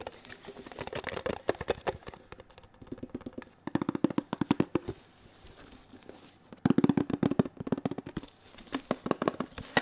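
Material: Metal.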